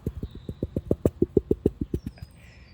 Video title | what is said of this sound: Rambouillet Fleece Part 1 Introduction | if you hear that ping it's a sound fleece if you hear cracking or tearing it's not a good fleece